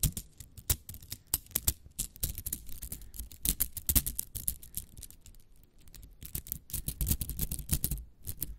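Long acrylic nails scratch and click along a small hollow spiral cat toy made of nested green and yellow plastic coils, held in both hands and squeezed. Rapid, crisp clicks and bright scratchy ticks tumble over one another with a soft low rumble beneath, each click dying away almost instantly. Quieter brief lulls fall between busier bursts.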